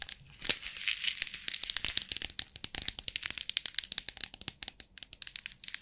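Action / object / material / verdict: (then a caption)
tap / clear plastic compartment box with loose beads / plastic / none. Long acrylic nails tap and scratch the lid of a small rectangular clear plastic bead organizer box, hollow and partly filled with loose beads, while it is held in the hands. Dense, dry, bright clicks and scratchy crinkling come in a fast, uneven stream with almost no low end, each tick dying away instantly.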